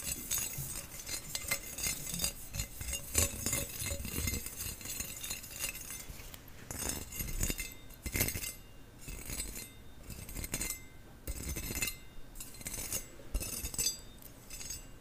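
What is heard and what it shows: A perforated stainless steel skimmer spoon with a flat round bowl and a long handle is held by its handle while long nails tap and scratch the holey metal bowl. Over about 15 seconds there are many quick, bright metallic clinks and scratchy rasps, with short rings that fade fast over a dull low rumble.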